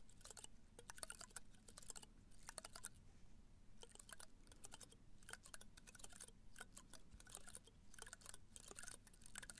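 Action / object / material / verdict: scrape / potted cactus spines / plant spines / none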